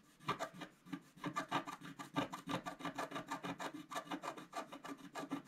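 A wooden stylus scrapes the coating off a flat black-coated scratch-art paper sheet in quick, dense strokes. The result is a rapid, uneven run of short, dry scratching rasps, each with a breathy, bright edge and almost no ring after it.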